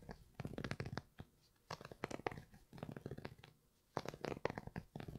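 Fingernails scratch and rub the grey Primeknit textile upper of an empty Yeezy 350 V2 sneaker held in one hand. The sound is dry, rapid scraping in several bursts separated by short quiet pauses, with fuzzy, papery texture mostly in the low and middle range.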